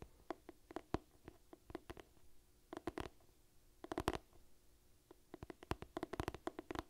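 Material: Cloth, cardboard.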